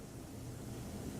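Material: Nothing is struck.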